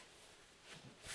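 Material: Nothing is struck.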